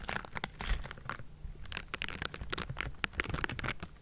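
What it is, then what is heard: Metal microphone grille. Bristled palms and fingers of pink silicone gloves scrape and tap the hollow metal mesh grille of a Blue Yeti microphone. The result is a rapid run of dry, scratchy rasps and short bright taps over a steady low rumble.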